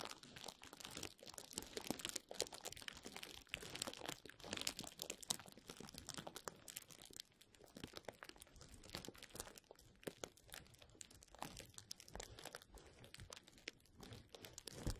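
Fingertips rub and squeeze a rolled tube of clear plastic bubble wrap held above the mic, making a dense, steady stream of bright crinkling and crunching. The crackles run continuously for the whole clip at a fairly quiet level, with no pauses between them.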